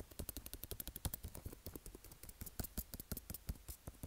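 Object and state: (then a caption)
Cardboard phone box tapped and scratched. Fingertips and nails rapidly tap and scratch the top and front of a small, hollow white cardboard iPhone box standing on a table. The result is a quiet, quick run of dull, hollow low thumps, each topped with a crisp, bright click or scratch that dies away almost instantly.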